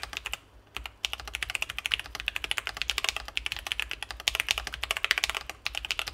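Both hands type continuously with their fingertips on a Sesame Ergo split ergonomic mechanical keyboard with C3 Kiwi switches, a full acrylic case and plate, and plastic keycaps, about 40 cm wide and lying on a desk mat. Rapid, short, bright clacky keystrokes run almost without a break, with one brief pause just before the first second.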